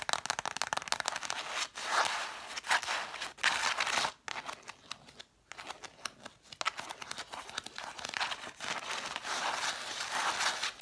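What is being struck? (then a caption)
Stack of cloth-bound hardcover books. Long black nails tap and scratch fast on a stack of red cloth-bound hardcover books, spines facing out. The result is dense, crisp, irregular clicks and scratchy rasps with bright, dry crinkling texture, in bursts with brief pauses and no low-end weight.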